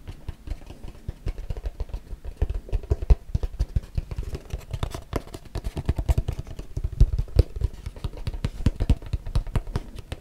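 A small, hollow, closed, hand-sized white cardboard box is tapped and scratched with fingertips and nails. Rapid, irregular, dull low thumps with faint scratchy clatter run continuously throughout. Each tap is short and dry, with almost no ring.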